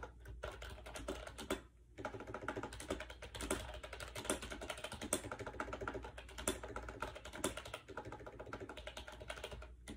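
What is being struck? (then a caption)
Plastic keyboard keys. Fingertips type rapidly on a compact gray plastic AJAZZ 308i wireless Bluetooth keyboard with round keycaps and a hollow shell, resting on a bed. A dense, steady stream of quick, light, hollow plastic taps runs over a low background hum, with a brief pause near the start and a short lull just before the end.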